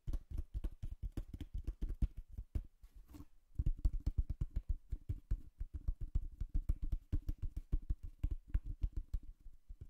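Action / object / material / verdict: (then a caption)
tap / cardboard box / cardboard / none. Fingernails tap rapidly on the face of a hollow brown cardboard box with a slot opening, held up close to the microphone. The taps are dense, dull and low, with a short quieter pause near the three-second mark before the steady tapping resumes.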